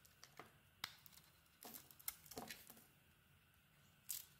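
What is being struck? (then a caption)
Bar of soap. A solid, hand-sized bar of white soap with a red-bronze coated surface is held in one hand and shaved with a small metal blade. It makes quiet, bright, crisp scraping and scratching cuts in quick irregular bursts, then a pause before one last sharp scrape.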